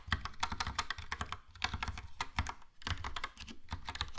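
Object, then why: Plastic mechanical keyboard. A yellow Logitech POP Keys plastic mechanical keyboard with round plastic keycaps is typed on with the fingertips, producing a rapid stream of clacky keystrokes. Each press combines a bright click with a deep, low thock and dies away almost instantly. The typing runs steadily throughout, with only a brief lull near the middle.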